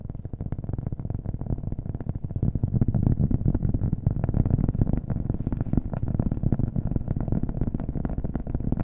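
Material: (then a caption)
Cork. A round, flat, thin solid cork coaster, about hand-sized, is held in one hand close to the mic and tapped rapidly with fingernails. It makes a steady stream of quick, dull, low thuds with little brightness. An added echo smears the taps into a continuous, hollow-sounding patter.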